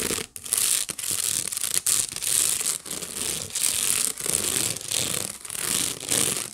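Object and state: Wicker basket being scratched.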